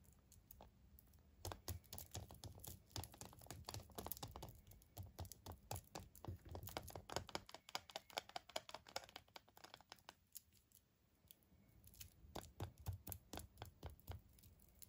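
An unopened Kinder Surprise egg, a hollow milk-chocolate shell about 6 cm long wrapped in printed aluminium foil, is held in both hands while the fingertips rub and crinkle the foil. Dense, quick, crisp crackles and snaps ring out over a low rumble, growing busier in bursts and dipping into a quieter stretch near the end before picking up again.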